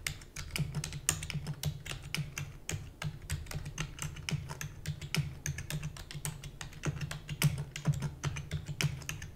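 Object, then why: Plastic computer keyboard. Fast typing with long nails on a black plastic computer keyboard produces a rapid, steady stream of sharp, bright clicks. Each click has a dull low thump beneath it and dies away almost at once, with no pauses across the clip.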